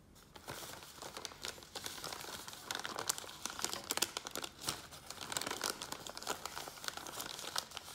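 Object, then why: Kraft paper bag. Fingertips and nails tap and scratch the sides and open top of a small, empty brown kraft paper lunch bag held upright on a table. The result is a dense stream of quick, bright crinkles and scratchy taps with almost no low end. Each sound stops at once, with no ring after it.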